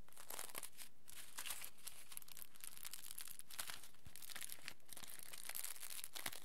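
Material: Aluminium foil.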